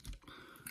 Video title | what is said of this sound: Awesomatix A12 - Millais Club Race | just to lift the outer outer wings like this and hear that tapping noise